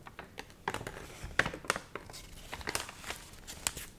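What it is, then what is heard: Water-wrinkled paper magazine, dry and stiff. A dried, water-wrinkled paper magazine with wavy, stiff pages is flipped open, then flexed and crinkled in both hands. The result is a quiet, irregular run of sharp, dry crackles and rustles, bright and papery with brief snaps that die away almost instantly.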